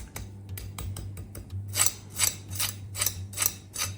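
A knife cuts through the skin of a confit chicken leg quarter, cooked skin-side down in rendered chicken fat. The skin gives off bright, crackling crunches in quick bursts over a low steady hum, loudest in five sharp crackles in the second half. The crunch shows how crispy the skin is.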